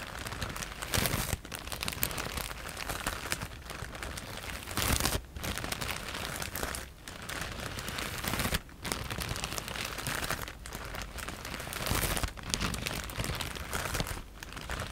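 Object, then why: Plastic bag filled with foam cushioning pieces. A clear plastic E-PACK bag filled with white foam cushioning pieces is held in both hands and scratched and squeezed with long nails and fingertips. It makes continuous crinkling and crunching noise that is broad and bright, with brief quieter gaps between squeezes.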